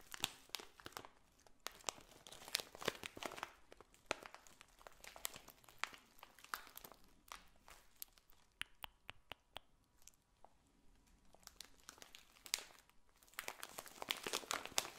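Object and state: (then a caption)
Plastic bag of dried potpourri. A clear plastic bag of dried potpourri, filled with dried red petals, is held in both hands, squeezed and scratched with long nails. It makes dense, bright crinkling and crunching with little low end. The sound eases into a quieter stretch partway through, then builds back to busy crinkling at the end.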